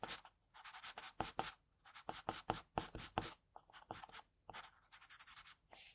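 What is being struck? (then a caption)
Graphite pencil on drawing paper. An HB graphite pencil scratches quick hatching strokes across a flat, solid, thin sheet of white drawing paper on a desk, shading hair. It makes a rapid series of dry, bright scratching strokes in short bursts separated by brief pauses, with little low-end weight.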